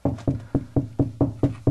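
Eight knocks on drywall just past a stud, over a hollow wall cavity. Each gives a dull, low, hollow thud around 130 Hz that dies away almost at once, in a steady rhythm.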